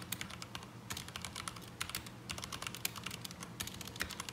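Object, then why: Mechanical keyboard with plastic keycaps. Both hands type continuously with their fingertips on a black mechanical keyboard with ABS plastic keycaps, resting on a desk mat. A quick, uneven stream of short, bright plastic clicks and clacks runs throughout over a faint low rumble.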